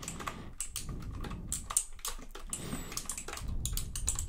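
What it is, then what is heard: Plastic computer keyboard being typed on. Fingertips rapidly tap and press the plastic keycaps of a white full-size plastic mechanical computer keyboard held close to the microphone. The result is a quick, uneven stream of sharp, bright clicks with very short decay over a soft low rumble.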